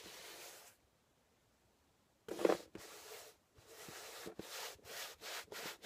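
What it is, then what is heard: Cardboard box rubbed by hand. A flat palm rubs the top surface of a closed, labeled corrugated cardboard shipping box resting on a table. A soft, dry, hissy brushing stroke comes first, then a pause of silence. A louder, rougher stroke follows, then a run of quick back-and-forth swishes that are bright and airy with almost no low end.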